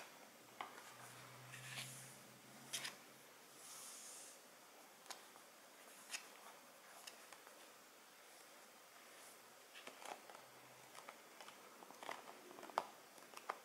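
A small, hollow Guerlain La Petite Robe Noire cardboard perfume box is held in both hands and tapped with long, metallic-polished nails. Quiet, sharp, bright clicks ring out in scattered clusters. They mix with soft hissy brushing sounds and a faint low hum near the start.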